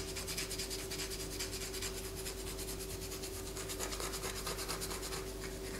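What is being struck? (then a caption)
Bar of white soap. A palm-sized bar of solid white soap is held in the hand and scratched with long fingernails, its shavings falling onto a paper poster. The scratching comes as a steady run of quick, bright rasping strokes over a faint constant low hum.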